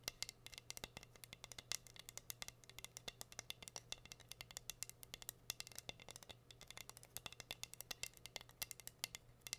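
Long nails tap and scratch across a flat, solid heart-shaped wooden board covered in pink rhinestones. The result is a rapid, irregular stream of sharp, dry clicks with a bright, high sheen, over a faint steady low hum.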